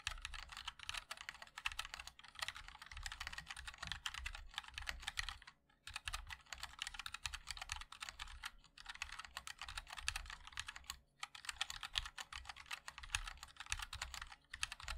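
Fingertips of both hands type continuously on a MOD-L 60% mechanical keyboard with a black aluminium case, white and black ABS keycaps and linear switches. The result is a dense, steady stream of short, bright key taps with a soft low thock under each one. Brief pauses fall near 5.5 and 11 seconds.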